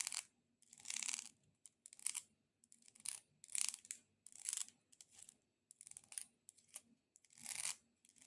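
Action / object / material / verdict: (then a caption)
scrape / dried decorative corn cob / dried corn / none. Long nails tap and scratch across a multicolored decorative corn cob. Bursts of bright, dry rasping scratches alternate with quick, crisp clicks and short pauses, all high-pitched with almost no low end. The sound is quiet and close, and each tap stops dead with no ring.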